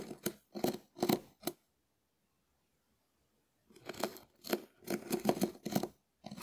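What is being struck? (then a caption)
Dried porous konjac sponge scraped with a wooden spoon. A hand-sized, shell-shaped, porous dried konjac sponge held in the hand is scratched and rubbed with the back of a small wooden spoon. Short, crisp, scratchy bursts come in clusters with a silent pause in the middle.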